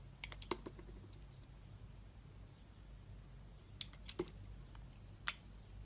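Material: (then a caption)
Soap. A metal utility blade scrapes thin curls off the embossed face of a solid oval Duru soap bar with orange and yellow stripes, held in the hand. Short, crisp, bright scraping clicks come in quick bunches at the start, again around the four-second mark, and once more near the end. They sit over a quiet, steady low hum.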